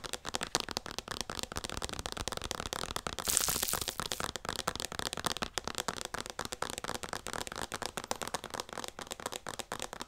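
Long painted nails tap and scratch a hand-sized white plastic O'Keeffe's Skin Repair lotion bottle with a pump, hollow and likely partly full. The result is a dense, continuous run of quick, bright, crackly clicks and taps. A louder, hissy scratching burst comes in about a third of the way through.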